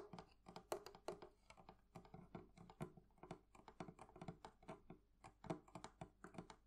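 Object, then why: Metal fittings on a wooden barrel chest. Fingernails and fingertips tap rapidly on the metal fittings of a wooden thrift-shop barrel chest. The result is a quiet, dense stream of short, dry clicks and taps, with a mid-low body and almost no ring after each hit.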